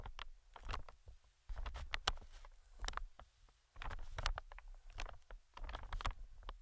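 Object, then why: Inflated plastic-film air cushion. Metal tweezers tap and scratch across the film of a medium green, inflated plastic-film air pillow. The result is irregular bursts of soft crinkly taps and brief scrapes, each with sharp bright ticks over a low rumbling body, separated by short quiet gaps.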